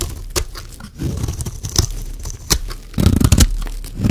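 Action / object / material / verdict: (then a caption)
scrape / bar of soap shaved with a metal blade / soap / none. A solid, rectangular dry pink soap bar is held in the hand and shaved along its edge with a metal blade, curling off flakes. Dry, crunchy scraping and tearing strokes carry a heavy low body and sharp, bright crackles. The strokes grow denser and louder toward the end.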